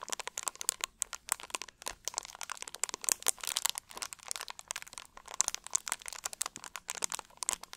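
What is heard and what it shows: An empty, hollow, clear plastic drink bottle is squeezed and crunched with both hands. It gives a steady run of sharp, bright crackles and crinkles for about eight seconds, with almost no low end. Each snap is dry and dies away instantly.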